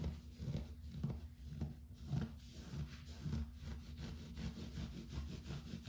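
Fingertips and short nails scratch and rub the pile of a soft, textured grey fabric bath rug lying on a wood-look floor. The result is a low, muffled, rustling scratch that rises and falls in loose repeated strokes, with almost no high-frequency bite.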